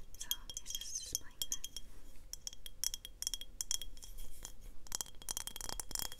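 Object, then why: Glass mason jar. A glass mason jar is tapped repeatedly, giving quick, bright, glassy clinks with a short chime-like ring. The taps come in irregular bursts over a low background rumble.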